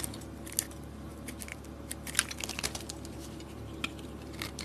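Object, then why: Bar of soap cut with a metal blade. A hand-sized, solid white rectangular bar of soap is held in the palm and cut or scraped with a metal blade, so thin curls and chunks break off. Quiet, dry, crisp scraping and crunchy snapping clicks come in an irregular series, each short and bright with no ring. A low steady hum sits underneath.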